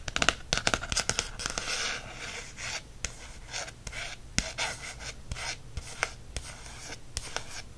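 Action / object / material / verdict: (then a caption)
scrape / small paperback book with coated card cover / coated card / none. Fingertips rub and trace over the coated card cover of a small "Birds of North America" pocket paperback field guide held in the hand. Soft, bright scratchy swishes mix with quick, sharp ticks and light taps at an irregular pace, each dying away almost at once.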